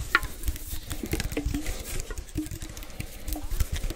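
A small, hollow, cylindrical metal tin can with a blue label is held close in both hands and tapped with fingertips and nails. A steady run of rapid, soft, dull taps follows, heavy in the low end and dying away almost at once, with occasional brighter clicks from the nails.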